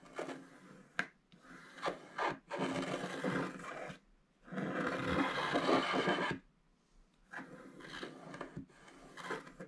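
A wooden stylus scrapes the black wax coating off the gold foil paper of a flat scratch-art card lying on a table, while the other hand holds the card steady. The strokes come in repeated bursts of dry, raspy scratching, some short and others drawn out into longer, brighter scrapes, with brief quiet gaps between them.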